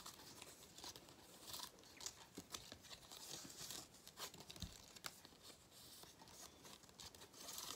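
A thin cardboard 2022 galette des rois paper crown with a gold metallic foil facing and cut-out points is held close in both hands while fingertips and nails crinkle, bend and scratch along the strip. The result is a quiet, steady stream of bright, crisp crackles and papery scratches, with brief sharper snaps along the way.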